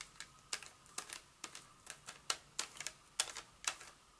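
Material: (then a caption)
Paper, foil. A flat, solid, hand-sized Hershey's milk chocolate bar in its paper wrapper, with foil inside, is held in one hand and tapped and scratched with very long acrylic nails. The result is an irregular series of quiet, crisp, bright clicks and light scratches with almost no low end. Each tap dies away very quickly, with a faint tone near 1.3 kHz.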